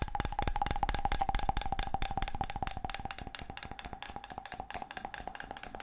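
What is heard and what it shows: A palm-sized round wooden object, possibly a small bowl, is held in both hands and tapped rapidly with the fingertips. The quick, dry knocks carry a steady hollow tone of about 800 Hz and die away almost at once, fading slightly toward the end.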